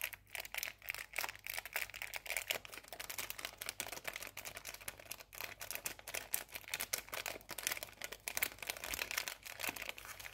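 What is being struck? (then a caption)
Metallic foil cookie wrapper. A small sealed metallic foil wrapper holding a cookie is crinkled and scratched with long painted nails. The result is a continuous run of bright, crisp crackles and rapid scratchy ticks, concentrated in the high frequencies with almost no low end.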